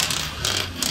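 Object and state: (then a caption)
Bonded wall tile (not lifted). An inspection rod is rolled across a ceramic exterior wall tile in a repeat rolling test, producing a bright, continuous high-pitched rattling scrape with no hollow resonance. The tile at this spot is bonded and not lifted.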